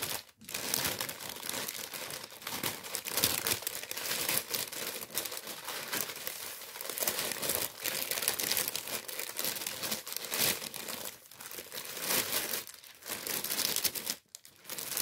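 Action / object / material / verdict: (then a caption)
scrape / kraft paper bag / paper / none. Fingers crinkle and rub a thin tan kraft paper bread bag with a wheat print, held up in the hands. A dense, continuous crackling rustle fills the clip, mostly bright and high with almost no low end, broken by brief quiet gaps near the start and near the end.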